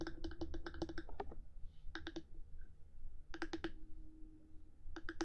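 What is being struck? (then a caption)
Binaural microphone housing, hard plastic. Long nails tap and click on the top of a black 3Dio binaural microphone's hard housing, one hand tapping while the other sometimes moves away. The sharp, bright clicks come in quick clustered bursts with short pauses between them, each dying away almost instantly. A low, steady rumble sits underneath.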